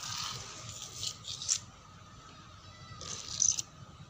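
Fingernails scratch a dark brown wooden door panel with a clawing motion. Bright, dry scratching comes in bursts early on and again near the end, with a quieter stretch between, over a faint steady low hum.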